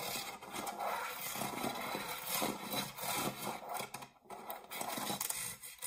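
Fingernails scratch the ribbed side of an empty dark metal springform cake pan near the latch, then move to its base. The result is a continuous, bright, rasping scrape with little low end and a brief quiet dip partway through.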